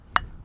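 A hammer taps a rock face once to sound it for fragility before a 12 mm Coeur Bolt anchor is placed. The result is a single short, sharp tap with a bright tone around 1.2 kHz that dies away almost instantly, leaving faint low background noise. The tap is a demonstration, and no verdict is given on the rock.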